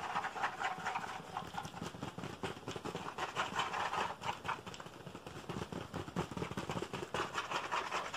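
Fingertips and nails rapidly tap and scratch the hollow plastic back of a black computer keyboard, turned upside down to show its label. The result is a dense, continuous stream of short, dry clicks and scrapes with a bright, hollow plastic tone.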